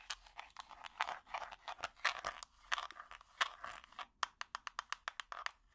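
An empty small clear plastic tub with an orange lid is tapped and scratched with plastic finger picks. Quick, dry clicks and crinkly scrapes crowd together at first, then give way to a run of evenly spaced sharp taps. The sound is bright and thin, with no low end and almost no ring.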